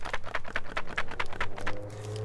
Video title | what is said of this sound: AKKO World Tour Tokyo Cherry PBT Dyesub Keyset | But when you pick it up and you shake it, it rattles like a keycap set.